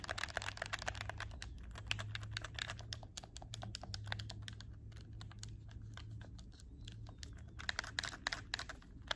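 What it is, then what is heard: Plastic game controller buttons clicking. A hollow black plastic PS4 game controller is held in both hands while fingertips with short nails click its triggers and shoulder buttons. Rapid, sharp plastic clicks come in dense bursts over a steady low hum, thinning out in the middle and picking up again toward the end.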